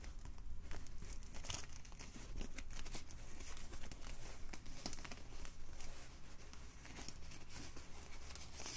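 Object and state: Polyethylene foam bottle sleeve.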